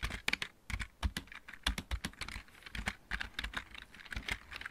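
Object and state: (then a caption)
Plastic mechanical keyboard being typed on. A backlit plastic computer keyboard with mechanical keys is typed on with the fingertips of both hands. Rapid, irregular keystrokes give sharp, dry clacks, bright on top with a low thump underneath. Each one cuts off almost instantly.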